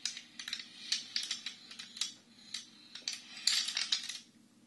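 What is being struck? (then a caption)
Wooden abacus with wooden beads. A Chinese abacus with a wooden frame and red wooden beads is held at both sides and tilted or shaken, so the beads rattle along the rods. The result is a quick, uneven series of bright, dry wooden clicks in scattered bursts. The clicks are short and ring only briefly, then stop and leave faint quiet near the end.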